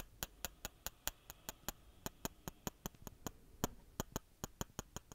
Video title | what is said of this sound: [ASMR] Christmas Triggers and Whispering | Sounds like wooden blocks tapping against each other, or most likely because the bases are wood, hence the sound.